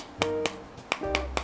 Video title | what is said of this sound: 價差百倍的木炭大對決! 中秋烤肉不能少的木炭知識！揭秘各種木炭的優缺點，讓你的燒烤更美味！ | It makes a sound when knocked. Listen, it's very soft charcoal that can be peeled off with your hands.